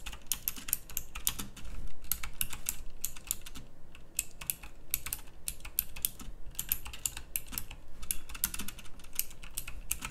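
Fast two-handed fingertip typing on a full-size backlit pink mechanical keyboard with round plastic typewriter-style keycaps and clicky switches. A rapid, steady stream of sharp, bright clicks rides over a low, constant rumble, each keystroke dying away almost instantly.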